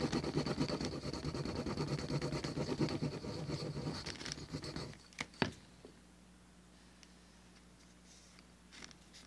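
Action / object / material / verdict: scrape / veg-tanned leather piece rubbed with a wooden slicker / leather / none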